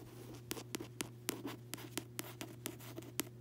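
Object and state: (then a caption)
Paperback book cover. Fingertips and long nails tap and scratch the front cover of a closed paperback novel with a solid, glossy card cover, resting on a bed. About a dozen short, bright, crisp taps stand out over soft, continuous scratching and a steady low hum, each tap dying away almost instantly. The overall level is quiet.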